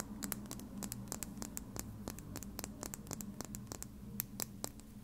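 Long red nails scratch and tap a small, slim plastic lip gloss tube with a dark cap, hollow and filled with gloss. Rapid, crisp scratching and sharp clicky taps follow one another with no ring, over a steady low hum.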